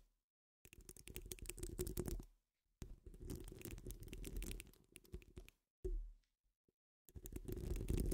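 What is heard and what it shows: Long fingernails on both hands scratch a hollow wire-mesh metal microphone grille dome, producing dense, rapid scratching and rubbing bursts. The sound is heavy and rumbly in the low end, with faint bright crackle on top, and it comes in several stretches separated by short silences.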